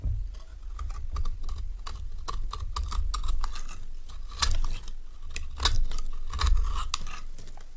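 A metal knife blade shaves a solid, dry, orange rectangular bar of soap, making a quick series of crisp, scratchy scraping clicks. Broad low rumble underlies bright, short shaving strokes that come in uneven bursts with brief louder swells.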